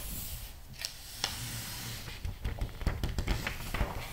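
Fingertips rub the glossy paper pages of a thick magazine lying open, pressing them flat and turning them. A steady soft hiss of paper rubbing gives way in the second half to quicker, crisp rustles and papery taps with a low thump beneath.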